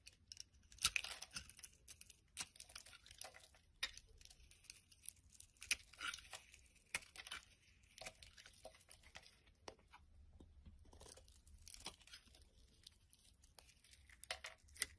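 A black blade repeatedly shaves crumbly strips off a solid amber glycerin soap bar held in the hand. Quiet, bright, crisp scraping and crackling come in short bursts, with sharper peaks on some strokes and a soft low hum underneath.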